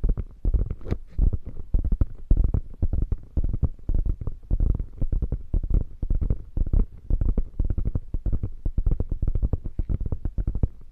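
Long nails scratch and tap the quilted padded flap of a beige quilted faux leather bag. The result is a dense, continuous stream of soft, muffled thumps and scratches, almost all deep and low with very little brightness. Each tap dies away almost instantly.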